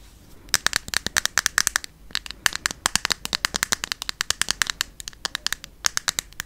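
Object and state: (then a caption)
Plastic bottle, hollow. Long yellow fingernails tap rapidly on a small, hollow white plastic skincare bottle held in the hand. About 48 sharp, bright clicks come in quick bursts with short pauses between them. Each click is dry and stops almost at once, with little low end.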